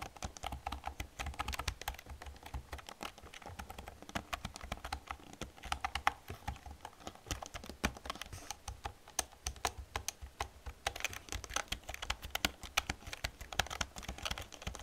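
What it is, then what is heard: Plastic computer keyboard. Long red-painted nails tap and type rapidly on an old black full-size plastic computer keyboard with hollow keys, with no mouse used. A dense, steady stream of quick, hollow plastic clicks and clacks with bright edges and soft low thumps continues for about fifteen seconds, each tap dying away almost instantly.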